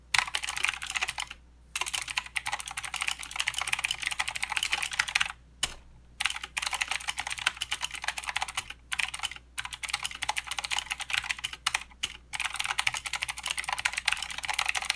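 A plastic mechanical keyboard with clicky blue switches and plastic keycaps is typed on continuously by the fingertips of both hands. Dense, bright clicking patters on in fast runs, broken by several brief pauses.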